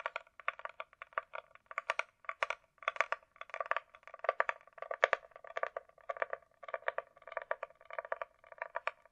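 A closed, small, hollow hard-shell glasses case with a smooth coated surface is held flat and tapped and scratched with long nails. Quick, hollow clicking taps in dense bursts mix with light scratching, carrying a steady mid-pitched resonance and bright edges but no low end. An added echo effect gives each burst a short repeating tail.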